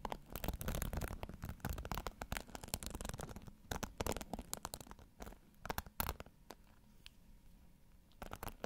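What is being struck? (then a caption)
Plastic hairbrush with bristles. Fingers scratch and stroke the bristles of a pink plastic hairbrush held bristle side toward the mic, making dense, crackly scratching with rapid clicks over a heavy low rumble. The scratching is busiest in the first half, thins into sparse ticks and quiet stretches later, then returns in a short burst at the end.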